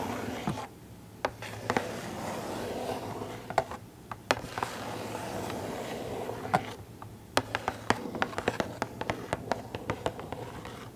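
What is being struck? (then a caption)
Small cardboard box with plastic window. Long acrylic nails scratch and tap the cardboard of a small printed Funko Pop box with a plastic window and a figure inside, held up close. Soft, papery scratching runs in stretches, broken by brief pauses and crisp, bright taps that come thicker and faster toward the end. A faint low hum sits underneath throughout.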